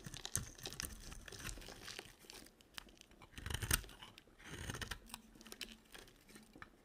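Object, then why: Bar of soap shaved with a blade. A solid, green-coated white dry soap bar held in hand is shaved with a box cutter blade. Dry, crunchy scraping and crackling strokes come in uneven bursts, with a bright, high crackle over soft low thuds. The loudest cluster of strokes falls near the middle.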